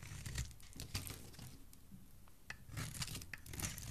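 A solid green bar of soap held in the hand is carved into chunks with a metal blade. Crisp, crunchy scraping and cutting strokes come in uneven bursts, with bright crackle over a soft low thump, and the bursts grow denser toward the end.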